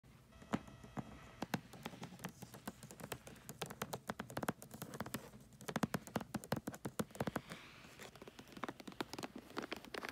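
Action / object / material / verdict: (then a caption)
tap / foil wrapping paper on a boxed gift / foil paper / none. Long acrylic nails tap and scratch the surface and edge of a rectangular gift box wrapped in holographic tree-print foil paper with a red ribbon bow. Quick, crisp clicks and taps land in uneven bursts over a soft, papery scratching hiss. The sound stays quiet throughout, with sharp, dry taps that stop almost instantly.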